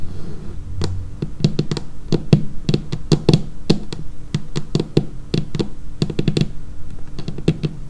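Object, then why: Laminated wooden tabletop. Long painted fingernails of both hands tap on a dark laminated wooden tabletop in a quick, irregular series. Each tap is a short, dry click with a low, woody body and a bright tick on top, dying away almost instantly over a faint steady low hum.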